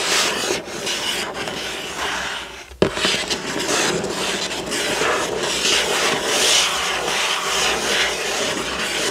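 Fingertips and nails of one hand scratch across the front of a hollow, printed cardboard building-block box lying flat. The result is a steady, bright, dry rasping with an uneven rhythm, broken by a brief dip in sound and a sharp tick near the three-second mark before the scratching resumes.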